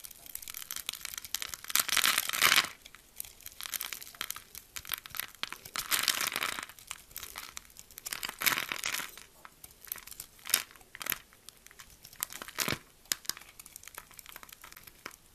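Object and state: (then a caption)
Bar soap being scraped into cubes. A metal blade scrapes small cubes off the surface of a solid oval bar of blue, pink and purple swirled soap, held in the palm and pre-scored in a grid, and the cubes fall into the hand. The sound is a run of dry, bright crunching and crumbling scrapes with almost no low end and no ring, swelling into louder, denser bursts between quieter crackles.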